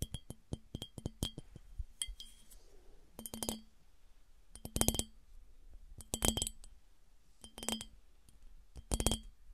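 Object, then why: Glass piggy bank. A smooth glass piggy bank is tapped with nails, giving clear, bright glass clinks with a steady low ring underneath. A run of quick single taps opens the clip, followed by several dense clusters of rapid clinks separated by short pauses.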